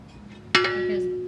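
A metal Ricochet aftermarket skid plate, being fitted to a 2021 KLX300, is knocked once and rings like a bell. A single sharp strike gives way to a clear, steady tone around 363 Hz with bright overtones that slowly fade over about a second.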